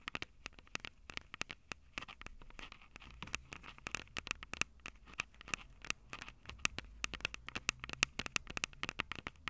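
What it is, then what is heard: Metal mesh microphone capsules tapped with nails. Long purple acrylic nails tap and scratch the two small crossed metal mesh microphone capsules on the hollow plastic body of a Tascam DR-05 handheld recorder. Dozens of sharp, dry clicks with almost no ring come in quick irregular bursts, mixed with faint scratchy crackle. The sound is bright, centered on a tinny resonance near 2.6 kHz, with little low end.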